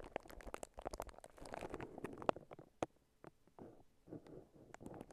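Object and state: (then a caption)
Plastic cling wrap crinkling. Fingertips and long nails scratch and crinkle clear plastic cling wrap wrapped around a handheld-sized microphone that is not hollow. Many short, sharp crackles and pops come through over a soft, dense rustle of midrange texture, with brief quiet gaps between bursts.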